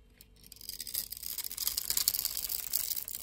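A metal blade scrapes across a solid blue and white striped bar of soap, grid-scored and held in the hand, cutting off small cubes. Quiet at first, it builds into a dense run of bright, crisp scraping and crackling snaps that stay high with almost no low end.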